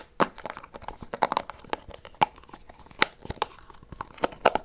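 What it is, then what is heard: Plastic gum container. A small white plastic Extra gum box is tapped and scratched with fingernails while being turned in the hand. The result is a quick, irregular run of dry, sharp clicks and crinkly scrapes, mid-pitched with bright edges and almost no low end. Each click dies away instantly.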